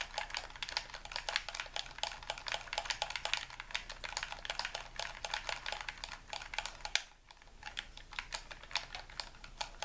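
A white, hollow plastic handheld game controller, held in both hands over a wooden table, has its buttons and triggers pressed and clicked rapidly with fingertips and thumbs. The sound is a dense stream of sharp, bright, typing-like clicks that end almost instantly. There is a brief pause around seven seconds before the clicking picks up again.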